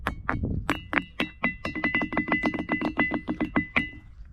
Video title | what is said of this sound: Visitando un Oscuro cerro y sus Misterios en Peru ( parte 1) 🗻 | it does have a sound as well as metallic